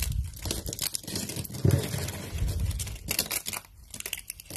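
Hands squeeze, crumple and tear thin, dry, translucent amber soap strips into small brittle flakes on a light table. A dense run of dry crackling, crinkling and crunching fills the clip, with a heavier low crunch partway through. Short sharp snaps also break through as the strips give way.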